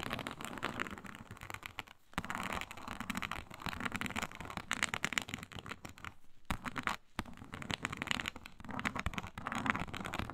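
Long pointed nails scratch fast across a flat, iridescent faux snakeskin mat of embossed reptile-pattern synthetic leather. The result is a dense, crackly scraping that spreads from the low end up into bright highs, broken by a few short pauses.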